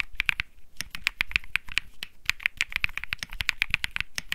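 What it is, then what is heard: Mechanical keyboard typing. Fingertips of one hand type quickly on a white Think 6.5 mechanical keyboard fitted with white and peach Bsun Lollipop plastic keycaps. The result is a dense stream of sharp, bright clacks centered near 2.4 kHz, each with a soft low thock beneath and almost no ring, arriving in uneven bursts with brief pauses.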